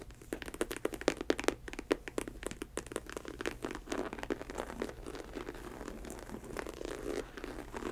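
Long white nails tap and scratch the textured snake-print synthetic leather upper of a faux snakeskin ankle boot with a studded rim and a chunky rubber sole. Quick, dry clicking taps come first, then give way to a softer, continuous scratchy rasp that crackles and crinkles at a low, close level.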